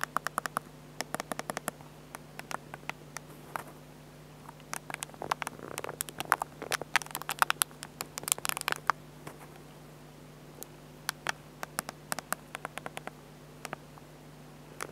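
Fingertips tap and press the control pad and screen edge on the back of a small black plastic compact digital camera, with a crumpled tissue lying unused nearby. Dozens of sharp, dry, bright clicks and taps come in irregular bursts over a faint steady hum, with a denser, softer scratchy rustle in the middle of the clip.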